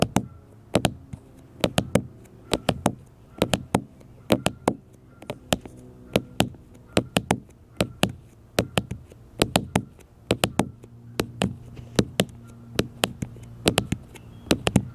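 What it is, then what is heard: Smartphone glass screen tapped. Fingertips and nails tap on a black smartphone with a glass screen held on a table, making quick clusters of short, sharp clicks that die away almost instantly. Each tap has a bright edge over a dull low body. A faint low hum sits underneath throughout.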